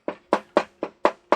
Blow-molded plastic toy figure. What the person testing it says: it's hollow. You hear the spring going in there.